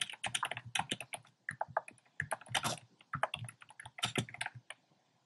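Fingertips type steadily on a compact plastic mechanical keyboard with a black plastic case and round pastel plastic keycaps. Bursts of quick, dry clacks run in short flurries separated by brief pauses, each keystroke a bright click with a soft low thock beneath and almost no ring.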